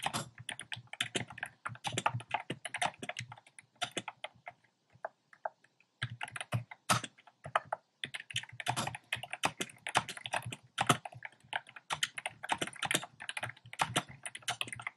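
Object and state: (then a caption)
Plastic mechanical keyboard. Fingertips type fast on a compact plastic mechanical keyboard with a black plastic case and round pastel plastic keycaps. The result is a dense stream of short, bright clacks and clicks. The typing breaks off for a brief pause around the fourth to sixth second, then resumes just as quickly.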